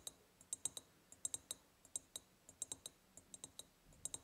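A large, hollow, ribbed clear glass jar, empty apart from a small tealight holder at the bottom and decorated with a gingham and lace ribbon and a hanging white ceramic heart, is tapped on its sides with long purple-painted nails. About 23 quick, separate taps sound as bright, high, glassy clicks in an irregular rhythm. Each tap dies away almost instantly, with barely any low end.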